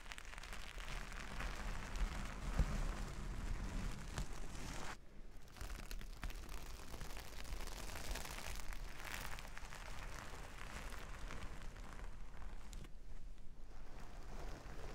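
Hands and long nails rub and scratch across a flat sheet of plastic sequin fabric. The result is a dense, continuous crackling scratch over a heavy low rumble, with the texture briefly thinning around the 5- and 13-second marks before picking up again.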